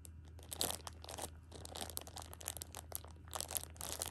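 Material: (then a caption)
Plastic film. Fingertips and long nails rub and scratch the crinkly plastic wrap on a six-pack of pocket tissues. The result is bright, dry crinkling and crackling in uneven bursts over a steady low hum, with the loudest crackles near the start and end.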